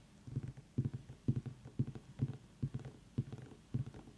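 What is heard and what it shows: Fingertips tap on a pumpkin in a steady series of soft, hollow, low thuds, each landing as a quick double tap. The taps sound dull and deep, around 130 Hz, and die away almost instantly with no ringing.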